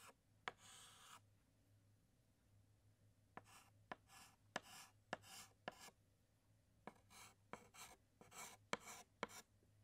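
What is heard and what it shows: A white chalk stick scratches hatching strokes inside letters on a large flat black chalkboard. Bright, dry scraping bursts alternate with about twelve sharp taps as the chalk strikes the board, over a faint steady low hum.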